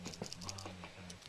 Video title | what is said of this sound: VID00002 | it's got a rattle in it